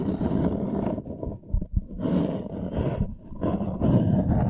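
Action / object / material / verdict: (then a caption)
scrape / thin wooden plank / wood / none. A thin, flat, solid light-wood plank is held upright in both hands and its surface is scratched with fingertips and nails. The result is a dense, low, rumbling scratch in steady bursts, thinning out briefly around the middle and again after three seconds before resuming.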